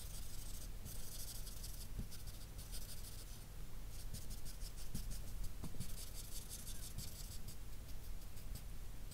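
A grey felt-nib marker rubs shading strokes across a sheet of flat drawing paper throughout, making a soft, steady scratchy hiss in bursts with bright, papery texture. A constant low hum sits underneath the quiet strokes.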